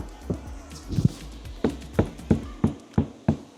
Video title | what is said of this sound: MODIFIED ESTIMA KELI SIAP! | Contoh kita ketuk pintu ni eh. Padat bunyi dia. Memang dah sangat padat.